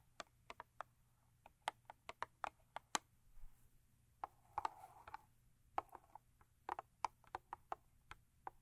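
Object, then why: Thin cardboard box. Long acrylic nails tap on the top and end of a thin cardboard Crest toothpaste box lying lengthwise. About two dozen dry, sharp clicks come in irregular bursts, each dying out almost instantly with a hollow midrange knock. A brief soft scratchy rustle appears around the middle.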